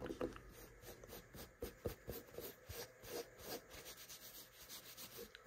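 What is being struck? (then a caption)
Carpet-covered cat tree platform. Fingertips and nails rub and scratch the short brown carpet covering a small square cat tree platform with a solid base. The result is a run of quiet, textured scratching strokes with a bright, hissy top and a faint mid-range tone around 500 Hz, each stroke fading quickly.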